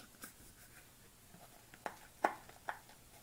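Long nails tap quickly on a small white plastic supplement tub with a white lid, held in the hands. Five short, dry clicks with little ring sound against a quiet background, the loudest coming near the end.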